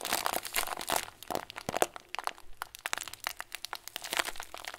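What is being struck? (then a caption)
Clear plastic bag filled with small foam beads. Thumbs press and squeeze a clear plastic bag full of tiny white foam beads. Dense, bright crinkling and crunchy crackles come in quick, irregular bursts with almost no ring, and the activity thins briefly in the middle before picking up again.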